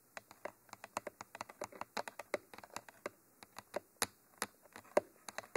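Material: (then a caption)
Plastic. Long nails and fingertips tap along the hollow, textured black tube of a Mitra 3D Pro binaural microphone with white end cages. The result is a quick, irregular run of about 29 short, dry clicks with a bright edge and almost no low end, each dying away instantly.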